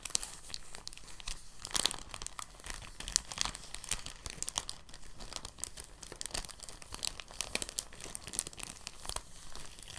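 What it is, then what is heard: Crumpled soft plastic bag. An empty, thin translucent plastic bag is pinched and crumpled by fingers, making soft, continuous crinkling. Dense, bright crackles run steadily throughout, with a few sharper snaps standing out. Each crackle dies away almost instantly.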